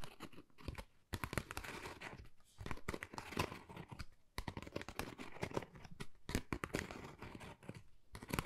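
Long nails scratch and tap a flat, pale pink, pebble-textured Dior cardboard folder, thin and hollow, held in the hands. Dense dry crackling scrapes and quick crisp taps come in bursts with short pauses, each sound dying out almost at once.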